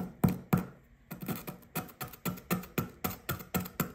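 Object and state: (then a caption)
Compressed sand block being scraped. A blue plastic chisel scrapes and pokes at a solid blue compressed sand dig brick with a small dug hole. The result is a steady run of short, dry, gritty scratches and taps, each with a quick bright crackle and almost no ring, followed by a soft low thump.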